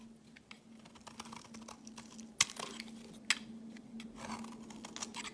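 A metal blade shaves thin curls off the surface of a solid white rectangular bar of soap held in the hand. It makes a series of soft, dry, bright scraping strokes, with two sharper, louder crisp cuts partway through, over a faint steady low hum.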